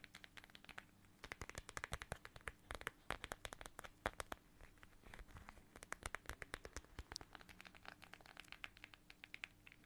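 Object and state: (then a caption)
Plastic pouch filled with gel beads. Long nails scratch and tap a small, flat, transparent plastic pouch shaped like a watermelon slice and filled with red gel water beads. The result is a quick, irregular stream of crisp, bright clicks and crinkly plastic scratches, each dying away almost instantly, over a faint steady low hum.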